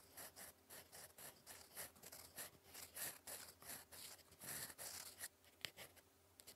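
A gold metal fountain pen nib scratches across lined cream writing paper in continuous cursive strokes. It makes a quiet, bright, dry scratching in a rapid series of short bursts with brief pauses between them, and each stroke stops with no ring.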